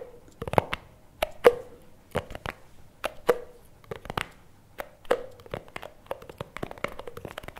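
A small plastic chocolate spread jar with its lid is turned in both hands while fingertips and nails tap and scratch its sides and lid. The result is an irregular run of short, dry clicks and taps with brief scratchy bursts, each carrying a faint hollow tone around 480 Hz that dies away almost at once.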